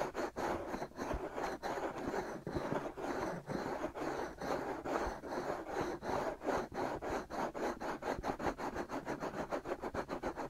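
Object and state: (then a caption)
Silicone binaural microphone ears being scratched. Fingertips scratch rapidly back and forth across the white soft-rubber silicone ears of a binaural microphone. The result is a steady series of short, rough, rasping strokes, centered in the midrange with little deep low end.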